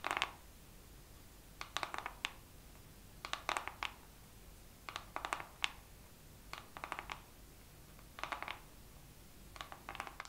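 Fingernails tap slowly on a makeup palette in this second round of tapping, in seven separate bursts of quick, crisp clicks. The taps are bright and dry, with almost no ring and little low end, and quiet pauses fall between the bursts.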